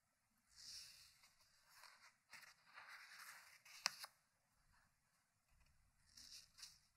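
Fingertips turn the paper pages of a large open hardcover book on a wooden table one at a time. Soft, bright, papery rustles and rubs come in quiet bursts, with one crisp snap of a page near the middle, separated by near silence.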